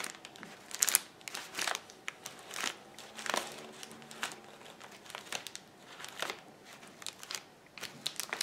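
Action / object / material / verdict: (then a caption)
scrape / plastic bubble wrap sheet / plastic / none. Fingers pinch a flat, clear plastic bubble wrap sheet lying on a table, popping its air bubbles. Quiet, bright plastic crinkling is broken by a steady string of short, sharp pops that stop abruptly with almost no ring and carry little low end.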